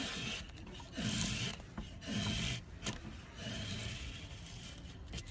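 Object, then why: Softwood block scraped with a steel blade. A long steel blade is drawn in repeated passes across the top of a solid rectangular block of light softwood held in a wooden clamp, scraping off thin curled shavings. Each pass gives a dry, raspy scrape with a low rumble underneath and bright hiss on top, separated by brief quieter gaps and a few sharp clicks.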